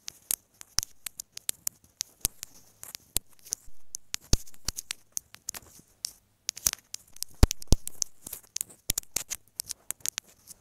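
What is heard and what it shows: Long manicured nails tap and scratch a small, hollow white plastic inline mic/remote housing on a wired earphone cable as it lies on a fabric bed cover. Dozens of sharp, dry clicks come in an irregular, quick patter with a bright, high edge, separated by softer scratching swells. Each tap dies away almost instantly, with a low, dull thud underneath.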